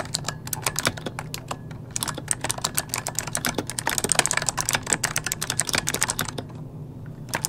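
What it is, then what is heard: Plastic mechanical keyboard, typing. Both hands type rapidly with their fingertips on an RGB-lit plastic mechanical computer keyboard with hollow key switches, resting on a desk. The result is a fast, steady stream of short, bright clicks and clacks that stop quickly, over a faint low background hum.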